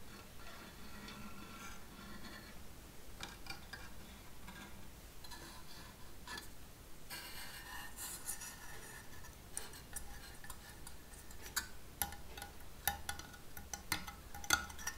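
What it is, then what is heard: Painted sheet-metal flytrap decoration tapped with nails. Long nails tap and scratch the pink open mouth of the hollow pod head of a painted sheet-metal Venus flytrap decoration, held close. Quiet, dry ticking taps and light scraping sit over a low steady hum. Sharper, brighter metallic clicks come toward the end, each dying away almost at once.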